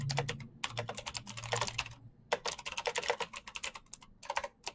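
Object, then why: Plastic mechanical keyboard keys. Fingertips type quickly on a black plastic mechanical keyboard with backlit keycaps, producing rapid, bright clicking taps in bursts with brief pauses between them. The clicks are sharp and short with almost no ring, over a faint low hum.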